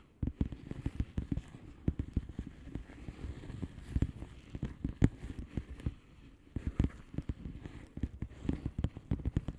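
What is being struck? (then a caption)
Plastic bubble wrap envelope. Long fingernails on both hands tap rapidly on the air-filled bubbles of a flat blue plastic bubble wrap envelope. The result is a dense stream of soft, dull, low-heavy ticks and light crackles with a brief quieter lull around the middle before the quick tapping resumes.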